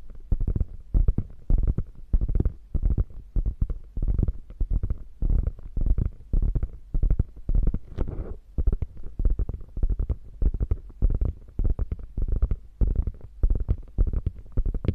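Long nails scratch and tap the padded quilted top of a small beige quilted faux leather handbag. The result is a steady run of soft, muffled, low thumps and brushing scratches in rapid, irregular bursts, with almost no ring after each touch.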